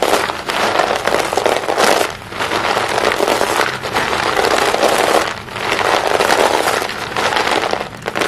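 Both hands scoop handfuls of small broken white chalk stick pieces from a green plastic basin, squeeze them and let them fall back in. The result is a dense, continuous clinking and crumbling crackle, strongest in the mids with bright edges and almost no bass, easing briefly between handfuls.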